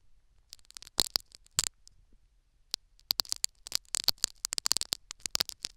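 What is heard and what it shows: Two metal syringe needles scratch and pick at a tan foam sponge plug seated in the canal of a silicone ear microphone. The result is a run of short, dry, bright clicks and scratches with almost no low end, clustered in bursts with brief silent gaps.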